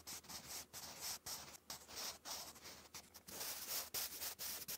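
A wooden graphite pencil writes cursive on a lined grey paper notebook page. A continuous, bright graphite-on-paper scratch comes in a quick, uneven series of short strokes separated by brief pauses.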